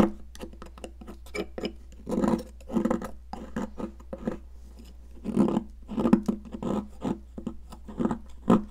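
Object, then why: Cast chalk block scraped with a metal tool. A hand-sized, solid yellow popsicle-shaped block of cast chalk, held in a hand with long decorated nails, is scraped and carved with a metal spatula-like sculpting tool, shedding chalk powder onto a grey surface. The sound is a quick series of dry, short scraping and crunching strokes with a low-mid body, some longer rasping passes in between, and a steady low hum beneath.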